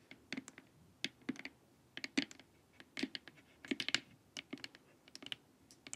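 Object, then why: Plastic face mask. Long nails tap quickly across the top and sides of a glossy, hollow plastic LED face mask. About 22 dry, bright clicks come in uneven bursts, each dying away almost at once with a faint hollow knock underneath.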